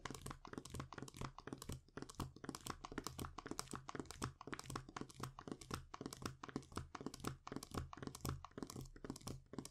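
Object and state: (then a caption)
Foil sheet mask packet. A thin, flat metallic foil sheet mask sachet with the mask inside is held in both hands and tapped and scratched with the fingertips and short nails. Quick, close crinkly taps and scratchy crackles follow one another unevenly, about two per second, each dying away almost at once. A steady low hum runs underneath throughout.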